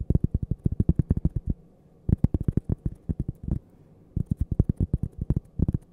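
A thin, flat, toast-shaped cork coaster with a printed logo, held edge-on beside the mic, is tapped and scratched with long purple nails. Three bursts of rapid, dull, thudding taps, with no ring, are separated by two brief pauses. The sound is deep and muffled with almost no high end.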